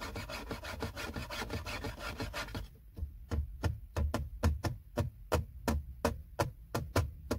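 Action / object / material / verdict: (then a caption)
scrape / plastic car console trim panel / plastic / none. Fingertips and short nails scratch and rub a flat, hollow, textured silver plastic center console trim panel beside the gear selector. For the first few seconds, quick, dense scratching blends into a continuous raspy rub. It then breaks into separate, crisp strokes with short, hollow low thumps.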